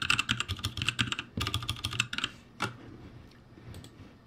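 Both hands type with their fingertips on a backlit ROCCAT G65 mechanical keyboard with plastic keycaps. Quick, uneven bursts of bright clicky keystrokes ring over a low thock. A brief pause breaks them up before a final sharp stroke and a few faint taps.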